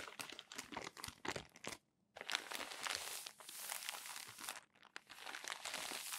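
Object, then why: Glossy magazine paper pages. Flat palms rub and smooth a stack of crumpled glossy magazine pages, and the pages are turned. Bright, dense crinkling and rustling comes in quick bursts, with a brief near-silent pause about a third of the way through before the rubbing resumes.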